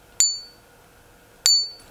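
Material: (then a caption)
Impregnated quartz. A bangle sold as jadeite, later confirmed to be quartz impregnated with polymer rather than jade, is tapped twice with a butter knife. Each tap gives a high, bright ping that fades within a fraction of a second. It sounds a little thuddy and lacks the sustained ring of natural jade.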